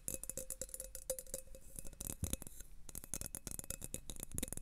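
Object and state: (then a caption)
Thin drinking glass. An empty, thin, clear glass tumbler is held upright in both hands and tapped and stroked with fingertips and nails. Quick, dry clicks and bright ticks follow each other in an irregular, rattling stream over a soft low rumble. A faint ring near 550 Hz hangs under the taps.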